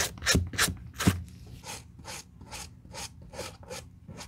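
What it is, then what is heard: Suede sneaker being brushed. A white bristle suede brush in a black-gloved hand rubs and scrubs across the nap of a hollow taupe suede sneaker with a cream rubber sole, working the toe, the heel tab and the back heel. A few louder, sharper strokes with a low thump open the clip, followed by a steady run of softer, bright, bristly swishes.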